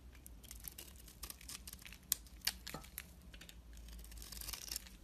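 A utility knife blade cuts and scrapes curls off a solid rectangular bar of soap held in the hand; the bar has a blue glittery outer layer and a white core. Quiet, bright, crisp scraping and shaving sounds come in irregular bursts, with a couple of sharper snaps near the middle, over a low, steady hum.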